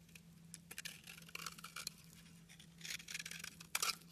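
A metal utility knife blade slices and scrapes chunks off a solid pink soap bar held in the hand. The result is a string of crisp, bright scraping and crackling bursts, with the loudest flurry near the end, over a faint steady low hum.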